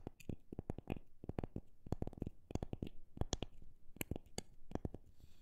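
A wooden object is tapped in a quick, uneven run of fast and slow taps. Each tap is a short, dry knock with a low thump and a bright click on top, and it dies away almost at once.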